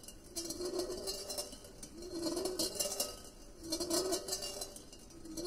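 A solid steel ball rolls around inside a large, empty, perforated stainless steel colander with side handles as it is swirled on a white table. The ball clinks against the thin hollow metal bowl. It makes a rolling, ringing hum with bright, high metallic chinks that swells and fades in repeated waves.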